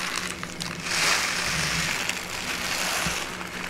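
A tall brown kraft paper pouch with a white label and folded top, partly filled with dried herbs, is held in the hands and crinkled and rubbed with long painted nails and fingertips. A steady, bright crinkling and rustling swells around the one-second mark, with a few sharper ticks, over a faint low hum.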